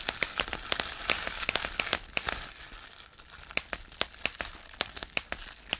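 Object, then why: Plastic bubble wrap sheet. A large sheet of clear plastic bubble wrap is pressed with fingertips, popping around two dozen bubbles in sharp, bright snaps over a steady crinkling of the sheet. Each pop is a very short, dry click, some in quick clusters and others spaced apart, with almost no low end.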